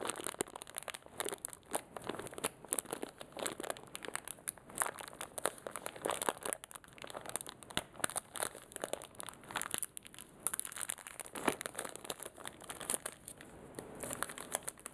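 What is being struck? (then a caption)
Small plastic zip bag with metal paper clips. A small clear plastic zip-lock bag with a red seal strip, full of metal paper clips including a yellow one, is crinkled and rubbed between the fingertips of both hands. The result is a steady, dense crinkling with rapid, bright crackles and very little low end.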